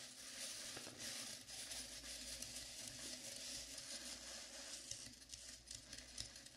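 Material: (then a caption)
Foam. Long nails on both hands scratch and tap the sides, near the ears, of a life-size, dark blue, velvet-flocked foam mannequin head. The result is a quiet, steady, bright scratching hiss with soft, irregular taps scattered through it.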